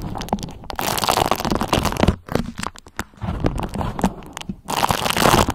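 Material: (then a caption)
Waxed cotton. A thin, pale yellow beeswax-coated cotton food wrap is gathered in the hands while long nails crinkle, fold and scratch along its waxy folds. Dense, bright crinkling and crackling comes in bursts with brief quiet gaps, then returns strongly at the end.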